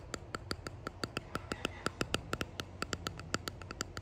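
Long painted nails tap and scratch a small, solid-looking clear hexagonal epoxy-resin box or coaster with dried flowers and gold flakes embedded, held up in the air. About 26 quick, crisp clicks fall in a steady, slightly uneven rhythm, each bright and dying away almost instantly, over a faint low hum.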